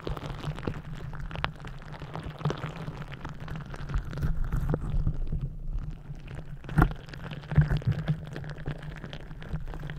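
A green rubber gel-bead squishy stress ball, its rubber skin stretched over the mic head, is kneaded and scratched with long nails. The result is a dense, muffled, low rumbling with fast crackly scratches and soft squelches, plus a couple of louder thumps near the end.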